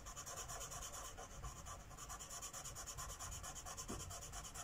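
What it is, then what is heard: Marker rubbing on a paper page. A felt-tip Sharpie marker is rubbed repeatedly in short strokes across a thin paper coloring book page lying flat on a wooden table. It makes a steady, quiet, scratchy rubbing with a bright hiss and a soft low rumble, pulsing at a loose rhythm of about one and a half strokes per second.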